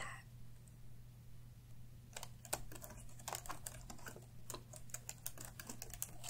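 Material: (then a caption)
Plastic. An open laptop rests on a wooden table while the fingertips of both hands type on its plastic keyboard keys in repeated taps. After about two seconds of near quiet with a steady low hum, quick, irregular, bright clicks begin. The short, sharp clicks continue to the end over the hum.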